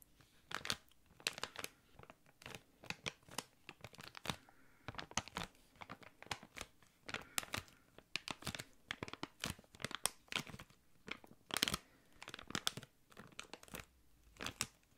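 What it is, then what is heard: Crinkled clear plastic bag. A small, thick, clear plastic packaging bag is crinkled with the fingertips. It makes a steady run of sharp, bright crackles and snaps in quick bursts, with little low end and almost no ring after each one.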